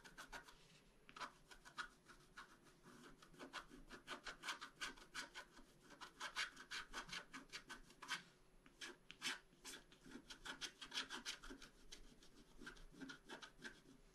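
A wooden stylus scratches across a flat, black-coated scratch-art card in quick, uneven strokes. Each stroke gives a short, dry, bright rasp with little low end, repeating at a brisk, irregular pace throughout.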